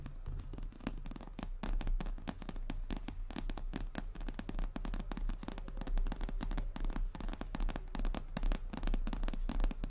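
A brown glossy croc-embossed leather handbag, medium-sized and hollow, is tapped quickly with the long nails of both hands. Dense, rapid clicking taps ring briefly over a deep, steady low hum, with the sound sitting mostly in the low end.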